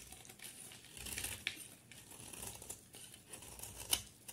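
A solid white soap bar with blue edges, held in one hand, is shaved with a utility knife blade, producing crumbly flakes. Quiet, bright scraping and crinkling runs throughout, with two sharper crisp clicks standing out along the way.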